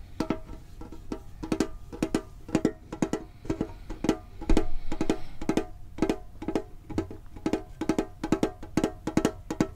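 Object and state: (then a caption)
Metal card tin. Fingertips tap a hollow red and blue printed metal Pokemon card tin with a lid, close to the microphone. The taps come quickly in irregular clusters, each a short, hollow, pitched knock that dies away almost at once, with a low thump beneath. The tapping continues steadily throughout the clip.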